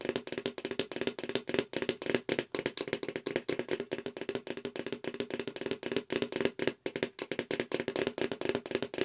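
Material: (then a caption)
Cardboard. Long acrylic nails rapidly tap the sides and edges of a hollow black cardboard subscription mailer box held at an angle. The result is a continuous stream of quick, dry, clicky taps with a hollow boxy tone centered around 380 Hz. Each tap dies away almost instantly.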